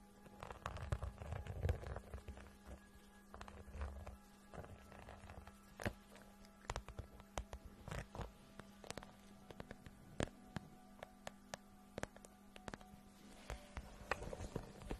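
Long painted acrylic nails tap and scratch the front of a medium, clear PVC/vinyl makeup pouch with pink trim and "MAKEUP" letter patches, held in one hand and filled with makeup items. Quiet, crinkly scratching and rustling mix with many sharp, bright clicking taps that stop instantly, over a low, steady hum.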